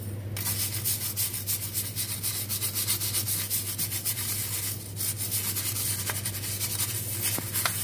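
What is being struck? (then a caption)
Stainless steel perforated sink strainer scrubbed with a bristle brush. A small, hollow, perforated stainless steel sink drain strainer basket, soapy and held in the hand, is scrubbed with a dark bristle brush. Steady, rhythmic bristle scratching fills the clip with a bright, hissy texture over a constant low hum, pausing briefly near the five-second mark before resuming, with a few sharp metallic ticks toward the end.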